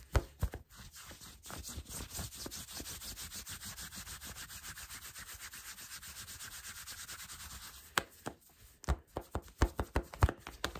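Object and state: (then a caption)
Fingernails scratching cotton fleece sweatpants. Fingertips and nails rub and scratch black cotton fleece sweatpants worn on the body, with the elastic waistband visible. A fast, even run of soft, brushy rubbing strokes fills most of the clip, then gives way to sharper, separate scratches near the end. The sound is soft and muffled, with most of its weight in the low range.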